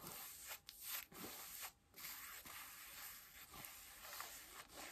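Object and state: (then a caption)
Denim jeans scratched with nails. Long nails scratch blue denim jeans stretched over a bent knee and thigh while seated. A series of dry, bright rasping strokes with a hissy texture is heard, separated by short quiet gaps.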